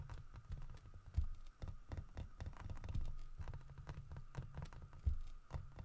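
Fingernails rapidly tap and scratch the grooved fur carving of a large, solid carved wooden bear statue. The result is a quick, uneven patter of dull, low knocks with short scratchy rasps, over a faint steady hum.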